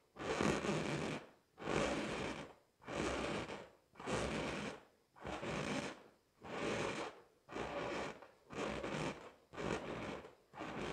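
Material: Latex.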